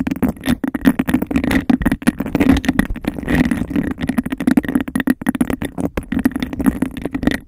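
A clear, textured glass cup placed over the microphone is tapped and scratched quickly with fingernails. The result is a dense, rapid stream of hollow, muffled clicks and scrapes with a boxy resonance around 280 Hz and very little high-end brightness.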